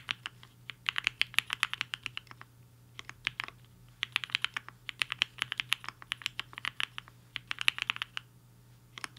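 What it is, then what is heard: Mechanical keyboard with plastic keycaps. Fingertips of both hands type on a HI-FINGER 7.5, a black-cased 75% mechanical keyboard with a hollow case and white and pink plastic keycaps, resting on a desk mat. Quick bursts of sharp, bright clacks with almost no ring come in rhythmic runs separated by short pauses, over a faint steady low hum.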